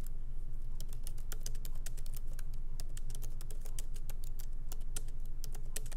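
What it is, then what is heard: Laptop keyboard, light typing. Light fingertip typing with both hands on a MacBook Pro laptop keyboard, its small plastic keycaps set in an aluminum body, resting on a wooden desk. Quick, uneven bright key clicks tap over a steady low hum.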